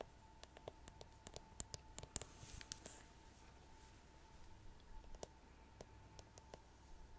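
Long nails tap and scratch across the rhinestone-covered back of a plastic paddle hairbrush, shown in full with its handle. A series of quiet, sharp, bright clicks sounds over a soft scratchy rustle and a faint steady tone, with the taps briefly clustering in the middle before sparser clicks return.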